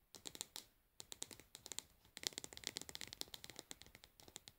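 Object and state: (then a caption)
Plastic cosmetic jar lid. Long nails tap and scratch the pink plastic lid of a cosmetic pad jar and its rim. About two dozen quick, quiet, bright clicks and scrapes come in bursts with short pauses between them. Each one is dry with almost no ring and little low end.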